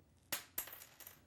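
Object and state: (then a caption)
Dropped coat button. A button from a lady's coat is dropped onto the floor and bounces four times, giving sharp, bright clicks that fade quickly. It serves as a comparison with a dropped penny and is the probable explanation for a sound heard earlier.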